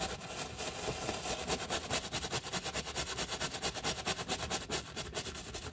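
A wooden-handled brush with stiff pale bristles, held in gloved hands, scrubs back and forth over the knit mesh textile upper of a hollow white sneaker resting on a towel, with little foam. About 16 brisk, evenly paced strokes produce a dry, bright, hissing scratch with a faint hollow undertone from the shoe.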